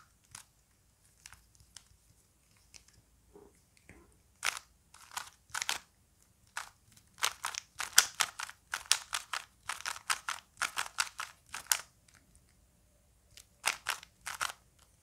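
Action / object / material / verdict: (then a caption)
scrape / plastic puzzle cube / plastic / none. A small plastic Rubik's cube is held in both hands while the fingers rotate its layers, producing sharp, bright plastic clicks and crunchy snaps. Scattered faint clicks at the start build into a dense run of quick turns in the middle, then fall silent before a few final clicks at the end.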